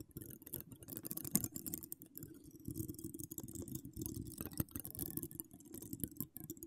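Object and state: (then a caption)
Metal mesh microphone grille being scratched. Long decorated acrylic nails scratch a hollow woven metal mesh microphone grille, making a dense, continuous crackling scrape full of rapid clicks. The sound is heavy and rumbling low down, with faint bright hiss above, and swells and fades throughout.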